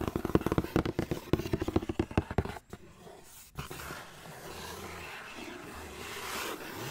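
Fingernails scratch quickly along the printed side of a large, hollow white cardboard Nike shoe box, making a rapid series of dry, scraping strokes. After a brief pause, the box is held upright by its lid, and the scratching gives way to a quieter, steady rustling hiss.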